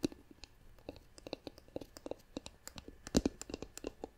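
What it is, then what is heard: Wooden lidded jar tapped with nails. A hollow, turned, light-colored wooden jar with a wooden lid has its lid tapped and scratched with long nails. About two dozen quiet, dry clicks and taps fall in an irregular rhythm, each with a woody knock around 250 Hz and a bright nail tick that dies away almost at once. Faint scratching fills the gaps between them.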